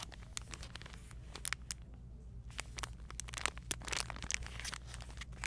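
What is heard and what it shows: A clear plastic bag with a printed label, holding a charcoal exfoliating glove, is held in both hands with long painted nails. The fingertips press and crinkle the bag, then turn it to the back, giving quick, bright crackles and crinkles over a steady low hum.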